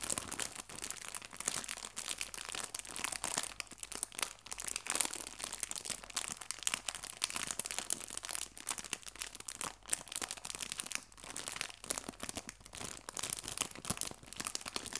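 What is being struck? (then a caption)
Thin clear plastic bag filled with artificial fabric leaves. A small, thin, clear plastic bag full of fake fabric maple leaves is crinkled and rubbed with fingertips and red nails. The result is a quiet, continuous, bright crinkling and rustling with dense, crisp crackles and almost no low end.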